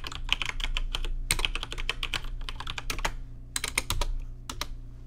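Fingertips type on a rainbow-lit plastic RGB mechanical keyboard with plastic keycaps, producing rapid, bright, short clicking keystrokes. A brief pause comes around 3.2 to 3.5 seconds. A steady low hum sits underneath the whole time.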